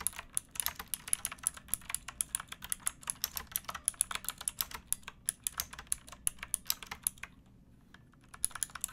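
Both hands type with fingertips and nails on a pink backlit mechanical keyboard with plastic keycaps, making about 53 quick, bright, clacky keystrokes. Each click dies away almost instantly. The typing runs steadily, pauses briefly near the end, then resumes with a few more taps.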